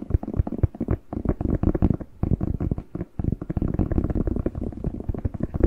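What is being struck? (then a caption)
Fresh bell pepper. Fingertips tap and scratch the skin of a whole fresh red bell pepper, hollow and hand-sized, held in both hands close to the mic. The result is a dense run of soft, low, hollow thumps and rubbing scratches, with no bright edge and only brief pauses.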